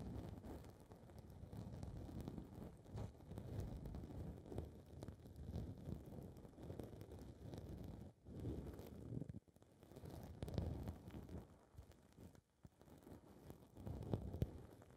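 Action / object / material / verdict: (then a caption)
scrape / foam microphone windscreen / foam / none. Long red nails scratch and rub a small blue foam windscreen on a recorder's microphone capsule while the other hand holds it steady. The result is a close, muffled, low rumbling rustle of dense scratches, mostly deep and dull with little brightness. It pauses briefly around 8, 9.5 and 12.5 seconds before resuming.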